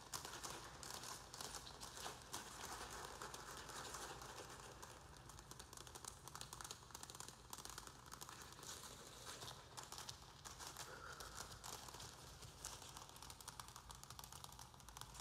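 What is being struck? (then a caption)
Thin plastic plant pot with a little soil. A round black plastic plant pot holding a little soil is gripped in both hands while fingers scratch and crinkle its thin plastic walls. The result is a steady, dense stream of bright crackling and scratchy rustling, with no pauses across the clip.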